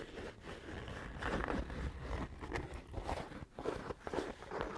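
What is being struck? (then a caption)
Quilted leather pouch. Fingernails scratch across a soft, hollow brown leather pouch with a woven or quilted texture. The result is a low-weighted, crunchy rustle of uneven scratching strokes that swell and fade without pause.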